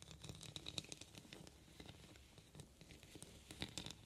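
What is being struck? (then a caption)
Small metal trinket box with rhinestone-set lid. Long painted nails tap and scratch across the rhinestone-covered lid of a small, closed, heart-shaped metal trinket box that looks hollow. Quiet, rapid clicks and scratchy patter fill the clip, with a few brighter taps that give off a brief, high metallic ping near 3.8 kHz and die away almost at once.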